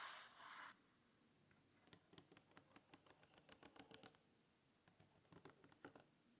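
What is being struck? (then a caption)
Paper page of a spiral notebook. Fingernails scratch across a blank paper page of an open spiral notebook. A brief broad hiss opens the clip, followed by an irregular series of short, dry scratches at a quiet level.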